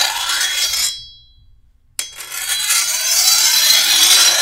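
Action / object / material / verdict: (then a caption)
scrape / steel machete blade / steel / none. A long, thin, solid steel machete blade, held by the handle, is filed along its edge with a metal file stroked by hand. A bright, hissy rasp fades into a short, high metallic ring and then near silence. The filing resumes sharply at about two seconds and continues steadily to the end.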